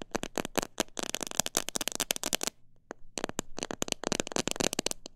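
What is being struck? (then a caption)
Plastic jar filled with bird seed. Long nails and fingertips tap the sides of a transparent plastic jar filled with bird seed mix. The taps come as rapid, sharp, bright clicks in dense bursts, pausing briefly just before the three-second mark and then resuming quickly.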